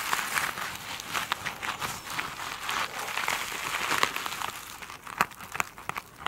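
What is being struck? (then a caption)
Foam sponge with glittery plastic mesh. Long pointed nails scratch and tap the sparkly surface of a foam sponge covered in glitter mesh, resting on a table. The sound is a dry, crinkly rasping with almost no low end and a steady bright hiss, broken by quick tapping ticks. It thins out near the end into a few sharp isolated taps.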